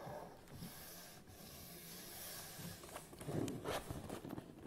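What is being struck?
Cardboard tripod box.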